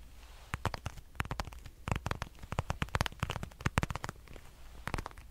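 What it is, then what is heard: Patent leather wallet. A dark red glossy patent leather wallet is scratched and tapped with fingernails, making a quick series of dry, sharp clicks and crackly scratches. Each tap cuts off almost at once over a low steady hum. The sound is close and quiet.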